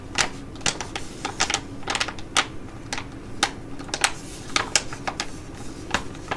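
Long nails tap and scratch on a Be Shineeee Jewelry Mask, a flat, thin plastic foil sheet mask sachet held and slightly bent. The result is a run of sharp, bright clicks and crinkles with very short decay over a soft, steady background hiss.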